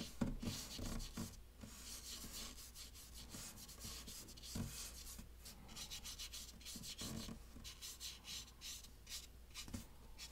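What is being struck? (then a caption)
Thick watercolor paper rubbed with a wet brush. A wet round paintbrush is stroked and rubbed across a large sheet of thick watercolor paper, taped to a wooden board with blue tape and bearing a pencil sketch, while painting grey hair. Soft, steady scratchy brushing with a bright hiss is heard, broken by a few slightly louder dabs over a low steady hum.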